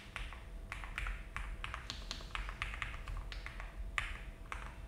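Both hands type continuously with fingertips on a full-size mechanical keyboard with a frosted translucent case, cream and brown GMK ABS plastic keycaps and a polycarbonate plate, resting on a desk mat. A steady run of short, clacky keystrokes, each with a bright, quickly fading click, plays over a low, constant background rumble.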